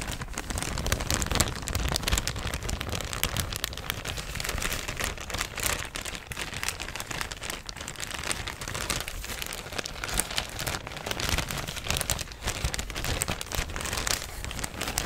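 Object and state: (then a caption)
Plastic bag. An empty, thin, yellow printed plastic shopping bag is crinkled, tapped and scratched with fingers and nails. This makes a dense, continuous crackling and rustling with bright, high crinkles over a low rumble, and it stays at a fairly steady level for about 15 seconds.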